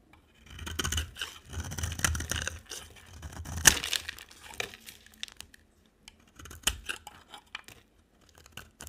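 A smaller oval light-green bar of soap is scraped with a utility knife blade. Dry, crumbly scraping and shaving sounds come in bright, crisp bursts with a low thud underneath. A louder scrape follows, then scattered short scratches and flakes.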